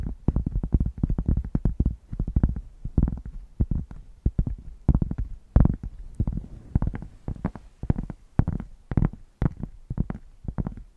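Long painted nails scratch a solid, hand-sized thick square cork board held in one hand near fluffy microphones. The result is a rapid series of short, deep, bassy scratching bursts, heavy in the low end with almost no bright content, separated by brief quiet gaps.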